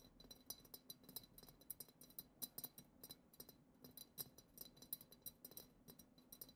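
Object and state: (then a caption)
Glass goblet. Long acrylic nails rapidly tap the bowl of a hollow, clear glass goblet-shaped vessel decorated with silver glitter swirls. The taps make a quiet, irregular stream of short, bright glassy clinks, each with a brief high ring that dies away almost at once.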